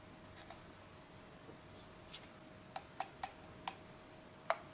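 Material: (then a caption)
Plastic. A small, hollow, black plastic Logitech G100s gaming mouse with a textured side grip is held in the hands while fingertips tap and scratch its shell and buttons. Seven short, bright, dry clicks sound at irregular intervals over a quiet hiss, with a faint steady tone running underneath.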